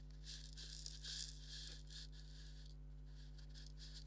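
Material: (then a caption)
Leather. Fingernails scratch over a hollow, black stitched leather maraca, across both the leather and the stitching. Soft, bright rasping strokes come in uneven bursts over a steady low hum.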